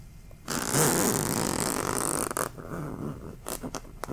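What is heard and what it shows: A medium-sized, soft, plush yellow throw pillow with a velvety fabric cover, stuffed rather than hollow and resting partly out of view, is scratched and rubbed with the fingertips and nails of one hand. After a quiet start, a loud, steady, bright scratchy rustle runs for about two seconds. It then drops to softer rubbing broken by a few short, sharp scratch bursts near the end.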